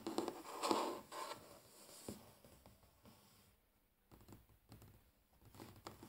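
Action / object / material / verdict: scrape / wooden tabletop / wood / none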